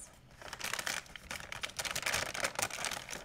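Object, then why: Thin plastic shopping bag. An empty white plastic shopping bag is crumpled with both hands, giving a dense run of bright, crackling crinkles. The bursts swell and fade in quick waves, with almost no low end and no ring between them.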